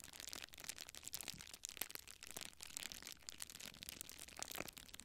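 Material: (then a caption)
Plastic. A small clear plastic bubble wrap sheet is held in both hands close to a microphone while fingertips and nails press, rub and crinkle it. The result is a quiet, continuous stream of dense, bright crackles and rustling, mostly high-pitched with little low end, and no voice.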